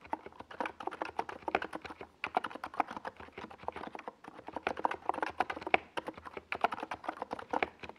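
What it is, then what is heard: Plastic mechanical keyboard. Fingertips of both hands type fast on a compact 68-key NiZ Plum Atom 68 mechanical keyboard with a white plastic case and purple and yellow Domikey Gas Attack SA plastic keycaps, resting on a desk pad. The result is a rapid, dense run of short, clacky, mid-pitched key strikes with no lingering ring, broken by brief pauses at about 2 and 4 seconds.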